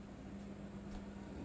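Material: Nothing is struck.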